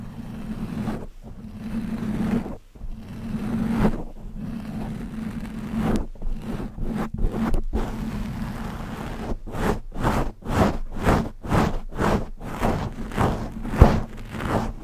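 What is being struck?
Foam microphone windscreen.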